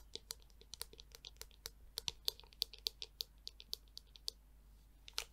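Long nails and fingertips tap and scratch the curved shell of a black, hollow plastic Tangle Teezer detangler brush held in the hand. About 26 quick, dry, bright clicks come in an uneven run, each stopping at once with almost no ring. Faint scratching fills the gaps between them.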